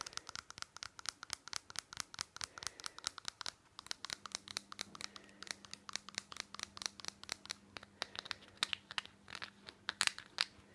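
Long fingernails rapidly tap and scratch the sides of a small hollow white plastic nasal spray bottle with a green label and a nozzle cap. About 56 quick, dry clicks with bright crinkly scratching between them, plus a faint steady low hum from about four seconds on.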